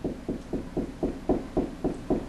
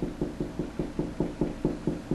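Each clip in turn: First: Nine steady knuckle taps give a low, dull thud: hollow drywall with empty space behind it. Second: About ten quick, even knocks on drywall, short and firm, mid-pitched: the solid spot over a stud.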